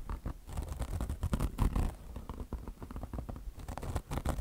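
Long blue nails scratch quickly over a beige, peanut-shaped mesh fabric chenille car wash sponge with mesh over foam. The result is a dense run of rough, rustling scratch strokes with a heavy, muffled low thump in each one, rising and falling in quick bursts with no ring after.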